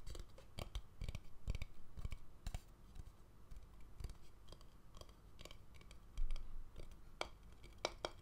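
An empty, hollow wooden bowl, first resting on a tray and then held upside down, is tapped and scratched with fingernails. Quick, dry clicks and taps with bright edges sit over soft scratching and a low, muffled body, with a louder cluster of taps near the end.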